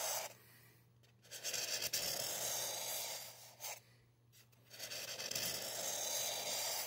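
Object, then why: Expanded polystyrene mannequin head with a marker. A marker tip is drawn in strokes across a solid white expanded polystyrene (styrofoam) mannequin head, producing a bright, hissy scratching rub. Long strokes are broken by brief quiet pauses, with a faint low hum underneath.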